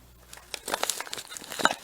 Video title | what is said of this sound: Freeze Drying Raw Meats | if you can hear the crunch, that's a good sign, because that says that the food has not rehydrated for some reason inside of the bag